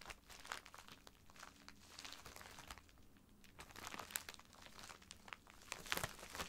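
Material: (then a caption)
Plastic. Fingertips and nails scratch and press a filled white plastic poly mailer bag lying flat, crinkling the plastic. A quiet, continuous bright crinkle runs throughout, dotted with short, sharp crackles that spike louder toward the end.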